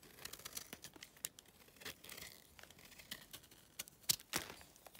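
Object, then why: Clay chunk shaved with a blade. A yellow utility knife shaves the edge of a solid, dry clay chunk held in the fingers, and flakes crumble off. Quiet, bright, crisp scraping and crackling comes in irregular short bursts, with a few sharper snaps standing out near the end.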